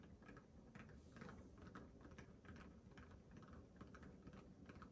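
Fingernails and fingertips rapidly scratch and tap the pebbled surface of a small, hollow, inflated orange rubber mini basketball held close to a microphone. The result is a quiet, irregular stream of soft scratchy ticks over a low, dull rubbery thrum, much like fast typing.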